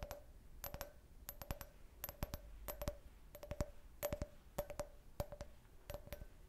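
An empty, hollow, clear glass drinking cup shaped like a beer can, with a red and blue printed logo, is held in hand and tapped and scratched with long nails. Quick clusters of sharp, bright clicks repeat at steady intervals, each bringing out a short glassy ring around 600 Hz over a faint low background hum.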